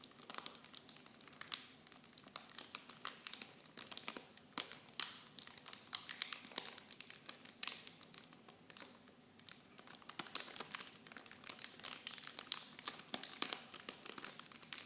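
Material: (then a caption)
Plastic. Clear plastic film packaging of a Nivea mini shampoo set is crinkled and pressed by fingertips and long blue nails. The result is a quiet, continuous stream of sharp, bright crinkles and crackles with no low end.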